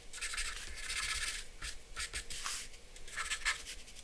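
A hand draws short strokes with a black charcoal pencil on a flat sheet of white drawing paper resting on a dark board. Bright, dry scratching comes in bursts of rough rasping, with brief pauses between strokes and a faint low background rumble.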